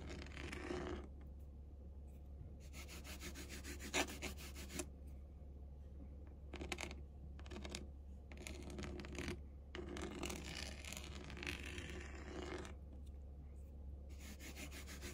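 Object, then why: Faux leather padded chair back. A long acrylic nail rubs and scratches across the pebbled texture of a large, flat black faux-leather panel, apparently a padded chair back. Bursts of soft, hissy scratching come and go in separate strokes over a steady low hum.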